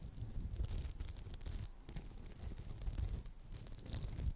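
Long acrylic nails scratch the textured surface of a round, palm-sized, solid red polymer foam sponge with a smiley face, close to the mic. The sound is a steady run of dense, rough scratching with a heavy low rumble and faint bright crackle, rising and falling slightly in loudness without clear breaks.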